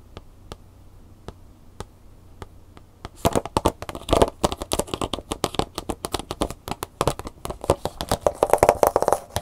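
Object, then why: Plastic blister pack with cardboard insert. A plastic blister pack with a cardboard insert is held upright while a single long fingernail taps its printed front and plastic. The clip opens with sparse, quiet clicks that give way after about three seconds to rapid, louder crinkly taps with a dry plastic rattle, and the taps stay dense to the end.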